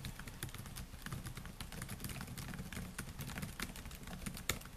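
Fingertips type steadily on the black plastic keys of a solid silver laptop, making a fast run of short, bright clicks over a low, dull thump from the key presses. One sharper click stands out near the end, when the hand comes to rest on the keyboard.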